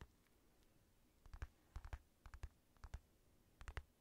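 Fingertips tap and scratch the outer leather of a black, padded synthetic leather boxing glove, hollow with a red lining. Soft, dull taps with a low thump land in short clusters of two or three, each dying away almost instantly, with faint scratching between them against a quiet background.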